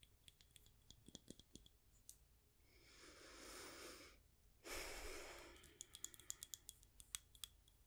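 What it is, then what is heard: Glass candle jar. Long nails tap the glass sides and lid of a clear glass jar candle with a white label, filled with wax. The taps are quick, bright clicks with a faint ringing tone around 3.4 kHz, coming in irregular bursts at the start and end. Between them, two soft, breathy rushing swells rise and fade.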